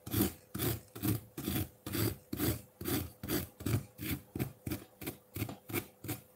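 A metal fork scrapes a solid block of ice with blue-green tinted layers sitting in a ceramic bowl. It makes a steady run of rough, rasping strokes, a little over two per second, each with a low grainy body and a bright hiss that stops sharply between strokes.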